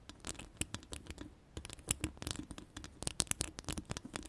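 Long pastel acrylic nails scratch a hollow metal mesh microphone grille with several fingers at once. The result is a quick, uneven run of dry scratching and pattering clicks, bright and crisp on top with a soft low thump underneath, and each stroke stops almost instantly with no ring.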